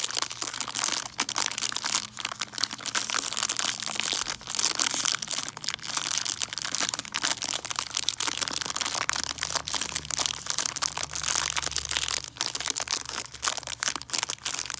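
Long nails scratch over a hard peppermint candy tree wrapped in cellophane, making a dense, continuous crinkle of bright, crackly scratching. The plastic rustles and crackles in quick, overlapping bursts throughout, mostly in the high range with very little low end.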